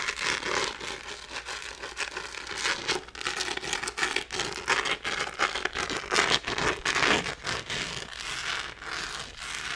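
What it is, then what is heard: Glitter plastic phone case. A small, thin, empty rose-gold glitter-textured plastic phone case is scratched with long nails across its rough glitter surface. The result is dense, bright, crackling scratches and crinkly rasps with almost no low end, rising and falling in quick bursts.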